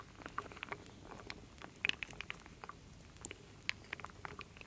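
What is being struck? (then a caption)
Wooden beads and acorn pieces in a wooden bowl. A wooden spoon stirs and scoops solid wooden beads, acorns and leaf pieces in a full wooden bowl. It makes quiet, bright clicks and light rattling taps that stop dead, scattered irregularly over a soft, steady background hiss.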